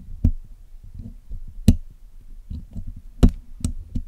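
The steel tip of a dental pick scrapes and picks at the black hollow wire-mesh grille of a Blue Yeti microphone while the other hand steadies the mic during cleaning. Five sharp, dull, low knocks stand out with almost no ring, separated by soft, uneven scratching and rustling.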